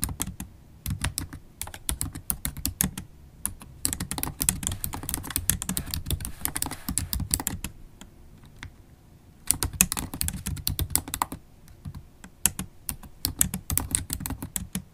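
Long holographic acrylic nails type fast on a MacBook Pro keyboard's black plastic keys set in an aluminum laptop body. Rapid, dry clicking taps come in bursts, with brief pauses near 3 s, 8 to 9 s and 11 to 12 s. Each tap has a sharp, bright edge that dies almost instantly, over a low thud.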